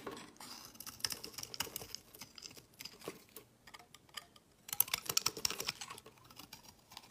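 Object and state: Laundry soap bar being shaved.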